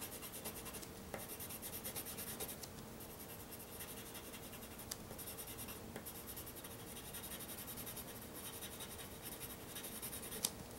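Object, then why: Pencil on a sheet of drawing paper. A white pencil rubs and hatches continuously across a flat, solid-backed sheet of black drawing paper while sketching the Millennium Falcon. It makes a quiet, steady, bright scratchy rasp, broken by a few sharper ticks as strokes start and stop.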